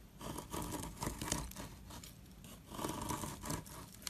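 A small, solid, square soap block with a pink dotted coating is held in the hand while a metal tool scrapes off the coating and the crumbly white soap underneath. The result is a series of dry, gritty scraping and crumbling strokes with a bright, crisp edge. The strokes come in two bursts with quieter scratchy rustling in between.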